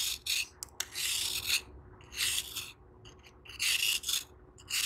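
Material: Sand-cement.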